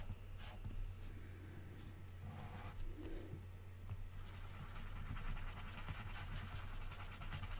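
A colored pencil scratches repeatedly across an open paper magazine page lying flat on a table, shading red triangles in a drawn grid. Soft, dry scratching strokes run over a steady low hum, growing denser and brighter in the second half.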